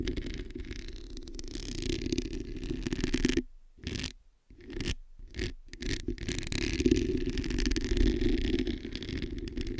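Long nails scratch the hollow metal mesh head of a black microphone, making a dense, continuous scraping rasp over a heavy low rumble and a steady hum-like tone. The scratching drops out in a few short gaps near the middle before resuming at full strength.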